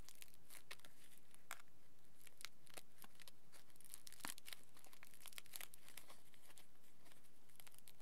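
Fingers pick up a small crumpled aluminium foil lump and squeeze and crinkle it. A quiet, continuous stream of sharp, bright crackles and crinkling snaps comes in overlapping bursts throughout.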